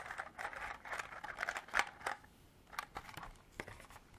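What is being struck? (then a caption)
Hard plastic clamshell container holding small beads. Long black artificial nails tap and scratch a small, hollow, clear hard-plastic clamshell container partly filled with small cream-colored beads, and handle the pieces inside. Quick, irregular clicks and scratchy rustles are heard, with sharp, bright taps standing out over a soft midrange rattle.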